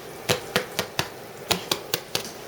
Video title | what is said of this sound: Expansions Podcast 2/14/2012 - Peasant Bread & Turkey Paté (Fit For Royalty) | you hear how it sounds hollow that's how you know if it's done